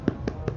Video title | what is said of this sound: How to Make Traditional Broa de Milho - The BEST Cornbread Recipe | tap the bottom so you can hear it's done